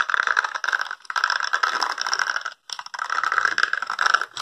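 Fingertips and nails scratch and rub the dense short spikes of a small, solid, handheld blue plastic or rubbery spiky brush held close to the microphone. The result is a dry, crackling rattle of scratches centered around 1.3 kHz with bright hiss and almost no low end. It comes in continuous bursts broken by a few brief pauses.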